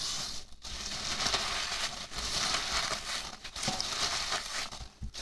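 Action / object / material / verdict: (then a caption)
scrape / expanded-polystyrene packing peanuts / polystyrene foam / none. Both hands with medium fingernails rub and scratch across a pile of small white expanded-polystyrene packing peanuts on a white table. The result is a dense, bright, squeaky crunching and crinkling that runs almost continuously, with a few brief dips.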